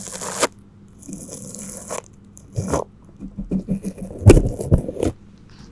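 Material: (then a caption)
Plastic film. A gloved hand brushes a flat bristle paintbrush across crinkled clear plastic cling film wrapped over a cylindrical microphone, making rubbing, scraping strokes. The close, crinkly scratches come in uneven bursts, mostly low and muffled, with a few bright hissing sweeps between quiet pauses.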